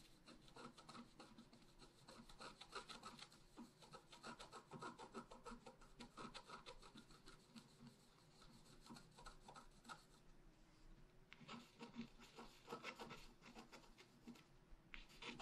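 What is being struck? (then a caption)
Black-coated scratch art paper with wooden stylus. A wooden stylus scratches details on the right side of a flat, black-coated scratch art paper sheet. It makes dense, quick, dry scraping strokes with a bright, papery rasp. The scratching pauses briefly near the 10-second mark and then resumes.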